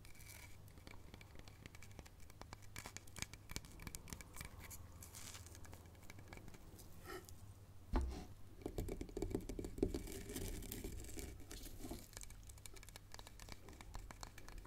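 A hollow, bark-covered log section is held up by its cut end and then stood upright on a chessboard while long nails scratch and tap its rough outer bark. The result is a steady, dry, crackly scratching with soft, irregular taps over a low, hum-like bed. A sharper knock near the middle is followed by a brief stretch of busier, slightly fuller tapping.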